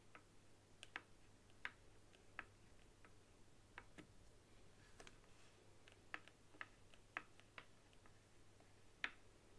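A white hollow plastic PS4-style controller resting on a wooden table is tapped on its top and buttons with long acrylic nails. Sharp, dry clicks and ticks ring out at irregular intervals over a low, steady hum, each tap short and bright with a mid-range knock around 1.7 kHz.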